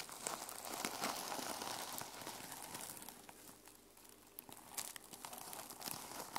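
Long nails scratch the teal plastic sequin cover of a small notebook resting on a wooden table. The sound is a continuous bright, crinkly rustle broken by sharp little clicks and ticks, fading slightly in the middle before picking up again.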